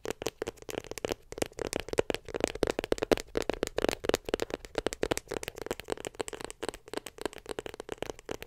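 A small white glossy cardboard iPhone 7 Plus box, closed and held in one hand, is tapped rapidly with long pink acrylic nails. The result is a dense run of short, dry clicks with a hollow mid tone and almost no ring, continuing steadily throughout.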